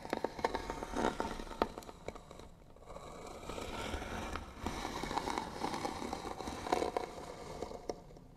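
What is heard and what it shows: Fingernails scratch slowly and firmly across the lid of a hollow white wooden box with bead trim. The result is a dry, rasping scrape with small crackling ticks, centered in the midrange with a faint bright edge. Strokes swell and fade in uneven waves, and each scratch dies away almost immediately.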